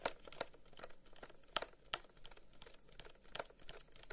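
Fingertips and nails quickly scratch and tap a long, hollow, carved wooden incense box held close. Quiet, dry, rapid clicks and knocks mix with a soft crinkling scrape. Each bright tap stops at once with no ring.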